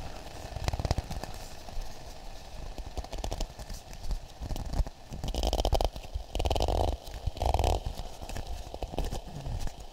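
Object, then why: Half coconut shell. A hollow, empty, hand-sized half coconut shell with a polished brown exterior is cupped and tapped with fingertips and palm close to the mics. It makes quick, deep, hollow knocks like clip-clopping hooves, with short denser bursts of tapping in the second half. Each knock dies away almost instantly.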